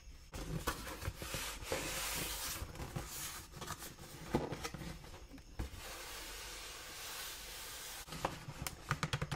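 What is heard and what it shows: Long nails tap and scratch across the faces and edges of a large, closed, hollow brown cardboard Dr. Martens shoe box as it is turned in the hands. Steady, bright, papery scraping runs through much of the clip, broken by sharp, dry clicks and taps. Each tap carries a soft, hollow low resonance that dies away almost at once, with a quick flurry of clicks at the end.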